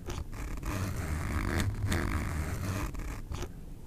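Fingers pull the metal slider of a black nylon backpack zipper along its teeth, making a continuous rasping zip. The sound is weighted toward a low rumble with a faint bright edge. It swells louder through the middle before easing off near the end.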